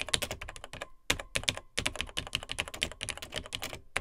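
Fingertips of both hands type quickly on the dark plastic keys of a beige plastic Tandy TRS-80 Model 100 vintage laptop. The result is a dense run of short, bright plastic clicks and taps with almost no ring, broken by brief pauses near one second and again before two seconds.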